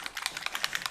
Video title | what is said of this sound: How to touch up Figaro paint chips | you can hear the ball bearing